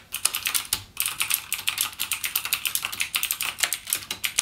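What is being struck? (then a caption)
Plastic mechanical keyboard. Fingertips type continuously with rapid key presses on a backlit full-size mechanical gaming keyboard with Cherry MX Blue switches and plastic keycaps, lying flat on a dark desk. A fast, uneven stream of sharp, bright clicks and clacks is heard, each key strike crisp and high with almost no ring and no low rumble.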